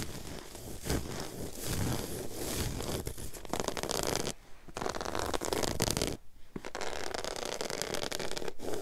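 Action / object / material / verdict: scrape / low-pile woven fabric carpet / woven fabric / none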